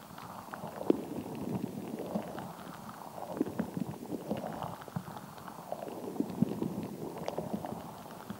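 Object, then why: Rubber stress ball filled with gel beads. A palm-sized, gel-bead-filled stress ball with a translucent rubber skin is held in both hands while long nails and fingertips squeeze it, tap it and scratch its surface. The result is a soft, continuous mix of squishy, wet-sounding squelches and small crackles, concentrated in the low-mid range. Brief sharp taps poke out throughout, with very little bright content.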